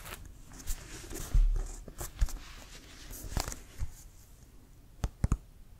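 Fingertips and nails tap and scratch on the printed leather of a brown Wilson leather American football, hollow and inflated, held in both hands. Irregular dull, low thuds mix with soft, bright scratching against quiet background noise, ending in a quick cluster of sharper taps.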